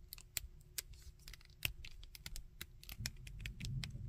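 Fingertips and nails handle a small, painted plastic Iron Man action figure with solid jointed limbs, bending the joints, rubbing and tapping it. Dry, bright clicks and ticks come in a quick irregular series over a low, soft rumble, each snapping off almost instantly.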